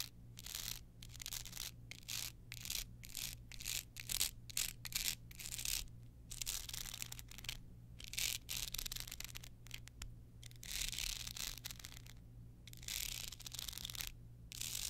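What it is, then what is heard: Rhinestone-covered card holder. Long nails scratch across the crystals of a small rhinestone-studded card holder held in the hand. Bright, crisp scraping comes in rapid, repeated strokes with short pauses between them, over a faint, steady low hum.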